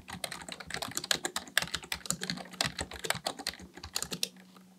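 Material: Plastic.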